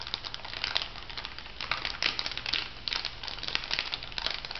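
An orange plastic foil cosmetic sachet, held upright, is crinkled by fingertips and long nails. The result is a steady run of bright, crackly crinkling with many short, sharp bursts, mostly high in tone, with little low end.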